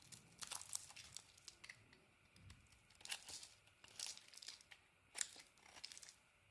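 A blade scrapes and carves a purple and cream solid bar of soap held in the hand, piling up shavings. Quiet, crisp, bright scraping and crunching strokes come in irregular bursts, with a faint crinkly texture between cuts.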